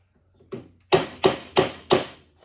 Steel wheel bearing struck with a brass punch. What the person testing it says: when it's home, you could tell by the way it sounds solid